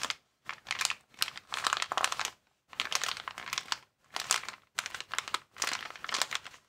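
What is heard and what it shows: A clear plastic air-column packaging cushion is held upright over a table while both hands squeeze and rub it with their thumbs. The result is bright, dry crinkling in several bursts separated by short pauses. There is no low end, and each crackle dies away almost instantly.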